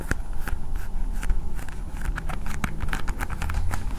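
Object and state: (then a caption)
Plastic toy ball. Long painted nails tap rapidly on a hand-sized, hard blue plastic toy ball with a Spider-Man sticker on it. Each tap makes a short, dry click with a bright tick. The clicks sit over a steady low rumble and die away almost instantly.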